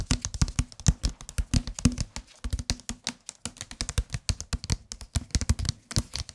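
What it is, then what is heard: Paperback book, fingertip tapping. A solid white and dark green softcover paperback book is held in the hands and tapped on the cover with the fingertips. Rapid, uneven bursts of short, dull taps carry a low body with a soft hollow tone near 240 Hz and a brief bright click on each. Each tap dies away almost instantly, leaving a steady, close patter.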